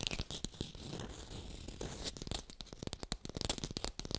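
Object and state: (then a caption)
Artificial textured lemon. Fingers rapidly tap and scratch a textured artificial plastic lemon, picked up by a hi-fi microphone. The result is a fast run of dry, clicky taps over a crinkly, rustling scrape, each hit bright and dying away almost instantly.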